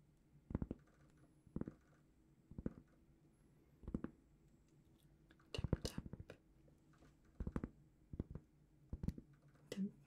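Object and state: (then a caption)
Cork trivet, tapped and scratched. A large, flat, solid round cork trivet, held in both hands, is gently scratched and tapped with long painted fingernails. Quiet, dry clusters of soft taps and brief scratches arrive in short bursts with pauses between them, weighted toward low tones with no ring after each touch.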